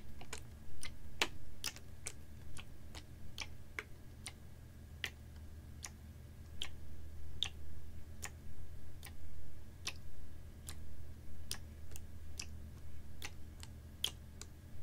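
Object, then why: Capped plastic water bottle partly filled with water. A clear, ribbed PET water bottle, capped and about half full of water, is held horizontally and tapped with fingernails. Sharp, bright, short clicks come at an uneven pace over a steady low hum.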